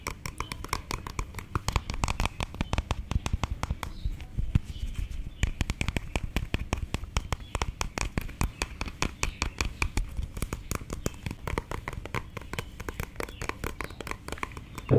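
A small, hollow orange plastic lip balm or lipstick tube is held between the fingers and tapped rapidly with long, dark painted nails. It makes a dense, continuous run of short, dry clicks with almost no ring, each hit sharp and quick with a hollow low thump underneath.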